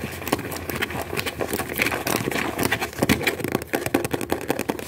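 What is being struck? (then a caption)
Paper book. A small, thick book with a dark blue cover and cream paper pages is held in both hands while its pages are fanned and riffled quickly with the thumb. The result is a rapid, continuous flutter of dry, papery flicks with bright, crisp edges. It stays fairly steady in level for the whole stretch.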